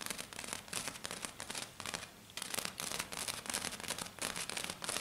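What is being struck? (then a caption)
Flat glitter-covered sheet. Two hands with black-painted nails tap and scratch quickly and densely across a flat sheet covered in silver glitter. The result is a bright, crackling, rustling texture that sits mostly in the high frequencies, with almost no low end. The sound comes in rapid clustered bursts, with a brief quieter lull around the two-second mark.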